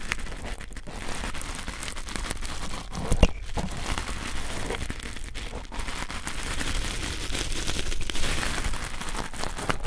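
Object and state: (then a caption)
Nylon fiber scouring pad being pressed. A red fibrous nylon scouring pad is pressed between two pencil microphones. It gives a steady, close crinkly scratching and crackling with heavy low rumble, and one sharper, louder pop a third of the way through.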